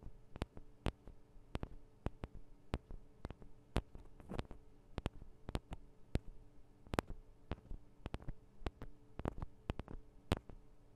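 Long acrylic nails tap and scratch on the sides of the two small hollow metal and plastic microphone capsules of a Tascam DR-40 recorder. Sharp, dry clicks with no ring land in an irregular, unhurried series, with a faint scratchy rustle around the middle. A low steady hum runs underneath throughout.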